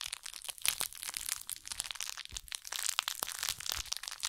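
A small, soft woven jute burlap pouch held in both hands is scratched and squeezed with long acrylic nails. It gives a dense run of dry, crinkly, crackling scratches made of many quick, crisp bursts. The sound is bright and high, with almost no low end.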